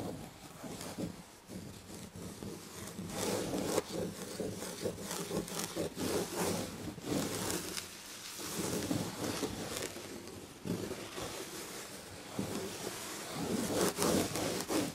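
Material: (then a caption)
Fabric. Long red nails scratch and rub the red and gold textured upholstery fabric on a chair back. The result is a continuous, uneven rasping and scratching with soft swells and brief louder strokes, spread from low to high frequencies.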